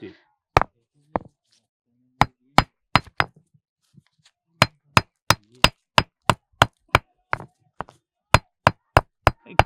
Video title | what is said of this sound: Lalluram Janmashtami Special : पत्थरों से आती है घंटी की आवाज - ujjain - Krishna | एक खनक सी आवाज आती है